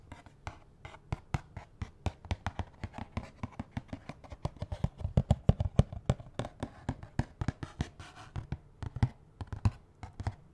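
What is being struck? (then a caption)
Cardboard glove box. Fingernails rapidly tap and scratch a small, hollow, red-and-white cardboard box of latex gloves, partly full, with the gloves showing through its window. The result is a quick, irregular run of dry, short clicks, about three per second. Each has a hollow low thump and a bright scratchy edge, and dies away almost instantly.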